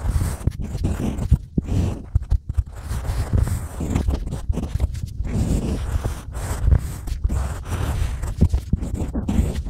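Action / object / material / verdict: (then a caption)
scrape / unfired clay tile scratched with a pointed stylus / clay / none. A pointed stylus scratches carved letters into a small, flat, solid slab of green-painted unfired pottery clay held in the fingers. The sound is a steady run of short, dry scraping strokes, dull and heavy in the low end, with no ring after each stroke.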